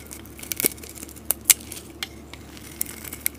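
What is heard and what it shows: A metal blade scrapes a solid green soap bar, shaving off flakes. Short, crisp, bright scraping and crackling bursts stand out over a faint, steady background, each stopping almost instantly with no ring.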